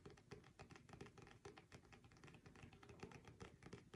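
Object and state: Paperback book with glossy card cover.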